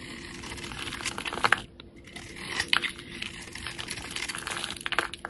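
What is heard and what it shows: Utility-knife blades shave and slice layered curls from a solid, rounded bar of yellow soap with a copper glitter coating, held in the hand. The cutting makes a steady, bright, crisp crinkling and scraping, broken by sharp crackling snaps and a brief quiet pause near the start.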